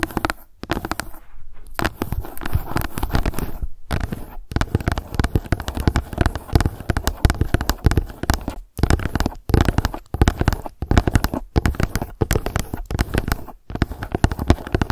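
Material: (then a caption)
Plastic. Fast tapping with long acrylic nails from both hands on a hollow, light blue plastic Suncut UV gel sunscreen bottle lying on its side. The result is a dense, continuous patter of short, dull clicks, heavy in low thuds with little brightness, broken by a few brief pauses.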